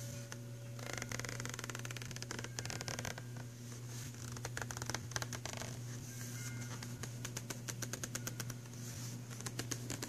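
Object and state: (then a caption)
Cardboard pencil box. Fingertips and nails tap and scratch the glossy front cover of a filled, printed cardboard box of pastel pencils. Quick, dry clicks and bright scratchy rustles come in dense bursts over a steady low hum.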